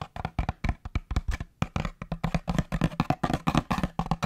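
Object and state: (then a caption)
Empty cardboard tube, hollow. Fingertips tap quickly along a long, hollow, empty brown cardboard paper towel tube held next to the microphone, first horizontally and then upright. About 25 short, dull, hollow thumps come in a fast, uneven patter, mostly low in tone with little brightness. Each tap dies away almost instantly.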